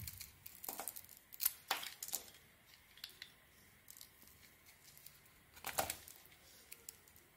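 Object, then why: Soap bar with a sequin coating. A metal blade shaves the pink sequin coating and chunks of soap off a solid cream soap bar held in the hands. The sound is a series of quiet, crisp, bright scraping and crinkling strokes, with a few louder, sharper cuts standing out in between the softer ones.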